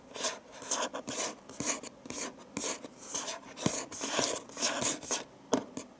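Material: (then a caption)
Cardboard. Fingertips and nails rub and scratch across the closed lid of a medium printed cardboard gift box with a Christmas pattern and a green ribbon bow, resting on a dark table. A steady run of dry, bright scraping strokes comes in short bursts, with quick light taps in between.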